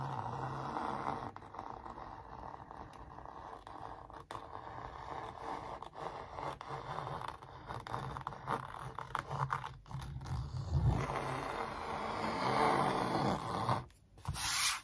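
A thin wooden stick traces and rubs over a large, hollow-backed printed canvas stretched on a wooden frame. It makes continuous dry scraping and scratching strokes with a low drumlike resonance. A louder, brighter rub near the end follows a brief dip.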